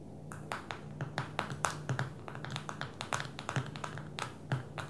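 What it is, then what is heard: Smartphone glass screen tapped with fingernails. Long fingernails tap quickly and irregularly on the glass touchscreen of a small black smartphone lying flat on a table. Each tap is a short, bright click that dies away almost at once, over a steady low hum.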